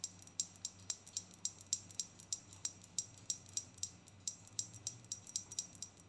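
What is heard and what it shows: A filled, hand-sized, flat rectangular glass perfume bottle with pink and white stripes and a pink cap is tapped with long painted nails. A quick, steady run of light, bright clicks each rings for only a split second over a quiet background.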